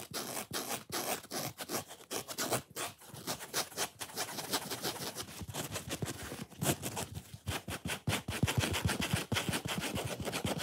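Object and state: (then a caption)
Dry foam sponge scratched. Fingernails scratch fast across the red foam face near the top edge of a dry, watermelon-style foam kitchen sponge. The result is a rapid, continuous run of rough, broadband scratching bursts with bright, hissy edges, each stroke cutting off almost immediately.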